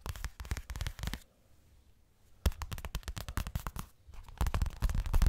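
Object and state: Fabric cosmetic pouch.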